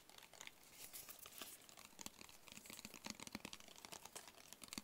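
A small, closed, hollow black cardboard gift box is tapped on its sides with fingertips and short nails. The result is a quiet, steady flurry of light, crisp taps and soft scratchy clicks with a bright, papery edge and almost no ring after each hit.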